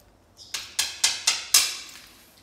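Five sharp knocks on the fully cured, hardened epoxy coating of a refinished bathtub. The glass-bead-finish surface gives crisp, high, clicky taps with a short ring rather than a dull, muffled thud.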